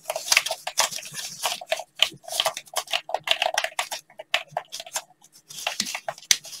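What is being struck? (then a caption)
Plastic game controller. A hand-sized black plastic gamepad with a hollow shell and buttons, held in both hands, is tapped and clicked with blue latex-gloved fingertips close to the microphone. The result is a rapid, uneven stream of short, dry, bright clicks and taps over a hollow plastic knock, each dying away almost instantly, broken by brief pauses.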